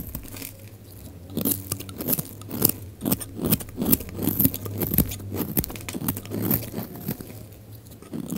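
A utility knife blade scrapes and shaves curls off a solid, hand-sized bar of dry orange soap held in one hand, and the shavings pile up beside it. Dry, crunchy scraping bursts repeat at an uneven pace, each cut ending quickly with a bright, crisp edge over a steady low hum.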